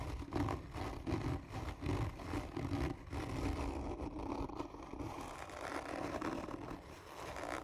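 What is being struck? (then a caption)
Cardboard tube. Long nails scratch hard and slowly across the top of a hollow, black textured cardboard gift tube. The result is a continuous, rhythmic rasping scrape with a hollow, low-heavy resonance centered around 290 Hz.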